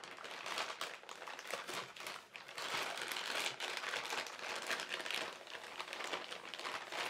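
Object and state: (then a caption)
Thin plastic carrier bag being crinkled. A flat hand and fingertips press, rub and crinkle the surface of a large, thin white printed plastic carrier bag with black lettering. The result is a steady, bright rustling crackle with dense small crinkles, no low end, and gentle swells in loudness throughout.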